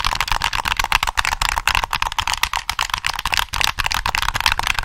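Fingertips rapidly tap the shell of a black, hollow plastic PS3 game controller held in both hands, and press its triggers as it is turned to show the back. The result is a dense run of short, dry plastic clicks and taps, with a hollow body around 900 Hz and bright high-end crackle.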